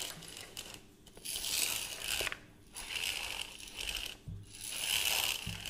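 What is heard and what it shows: A beige hollow plastic reel measuring tape with a black crank is held up close while fingertips and nails tap and scratch its case and rim. The result is bright, crisp scratching and tapping with scattered clicks from the crank and mechanism. Bursts of scratching alternate with short quieter pauses.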